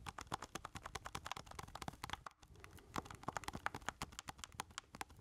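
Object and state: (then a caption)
Plastic game controller being tapped. A black plastic keypad game controller with a hollow handheld body is held in both hands while fingertips tap rapidly on its keys and casing. The result is a fast, uneven stream of short, dry plastic clicks with a bright edge, pausing briefly near the middle before resuming.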